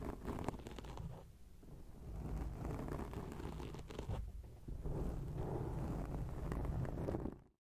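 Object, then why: Foam microphone windscreen. Long acrylic nails scratch a black foam microphone windscreen, producing a dense, muffled rustling and scraping that is heavy in the low end. The scratching runs almost continuously, easing off briefly twice before picking back up at a steady level.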